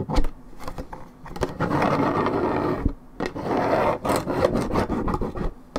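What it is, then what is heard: Paperboard juice carton being scratched. Long nails scratch quickly across the side of a hollow Minute Maid 1.75 L coated paperboard orange juice carton, fill unknown. Dry, raspy scraping comes in sustained bursts with short pauses, punctuated by dull low thumps and sharp taps. The sound is mostly low and midrange with little high-end brightness.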